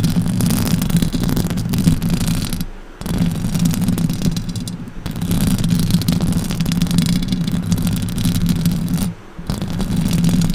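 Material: Metal mesh.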